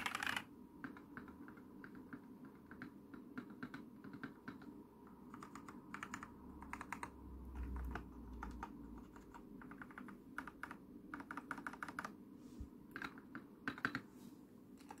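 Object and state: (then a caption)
Plastic mechanical keyboard. Long nails tap and press the white and navy plastic keycaps of a lit plastic mechanical keyboard near the spacebar and arrow keys. The result is a quiet, steady run of short, sharp clicks and clacks with brief bright accents, over a faint low hum.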